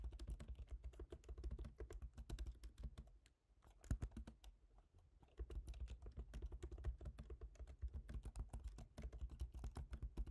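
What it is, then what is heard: Laptop keyboard being typed on. Both hands tap rapidly with their fingertips on a MacBook Pro keyboard, whose black plastic keycaps sit in a silver aluminum body. The soft, quick clicks have a dull, low thump and stop short. The typing briefly pauses and softens near the middle, with one sharper tap, before the steady stream resumes.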